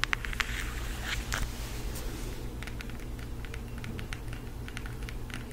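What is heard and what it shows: A floral cardboard eyeshadow palette is held in both hands and tapped rapidly with long acrylic nails. Quick, irregular, light clicking taps with a bright edge sit over a steady low hum, with a few sharper taps at the start and busier scratchy tapping around the first second and a half.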